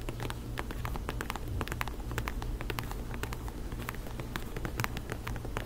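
Long nails rapidly tap a black faux-leather ankle boot with a lugged sole, producing a dense patter of light, bright clicks. A steady low hum runs underneath throughout.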